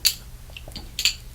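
A Paul Homme aftershave bottle made entirely of metal, stopper included, is tapped near the lid. It gives bright, short metallic clinks. Two strong taps stand out, with fainter ticks between them.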